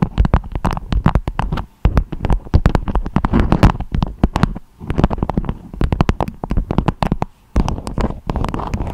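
Long acrylic nails tap and scratch a beeswax-coated fabric food wrap with a strawberry print, shaped into a dome. Rapid bursts of dull, papery taps and scrapes, with low, thuddy weight, come in clusters broken by brief pauses.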